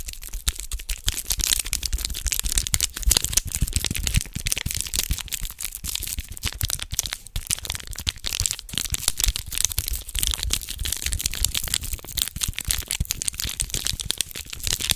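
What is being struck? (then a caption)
Small foil wrapper packet. A small red foil condom wrapper is held in both hands close to the mic while fingertips crinkle and tear at it. The result is a steady stream of dense, sharp crackles and crinkles, bright and crisp, with soft low thumps from handling underneath.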